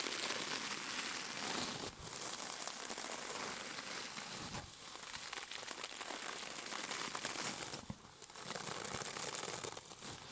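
A palm-sized rectangular sponge with a glittery white mesh cover, soft and solid, is held in both hands, squeezed and scratched with fingertips and nails. It makes dense, bright crinkling and scratchy rustling that runs almost continuously, with brief quieter dips around 2, 4.7 and 8 seconds, and almost no low end.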